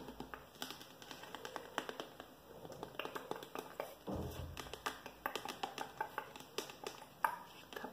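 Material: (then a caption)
Plastic. Short fingernails tap and scratch along the body of a handheld, medium-sized, hollow translucent yellow plastic spray bottle with an orange trigger head that appears to hold some liquid. Quiet, rapid, dry plastic clicks and brief scratchy rasps keep up throughout, with a fuller scraping burst just past the midpoint. Each tap dies away almost at once.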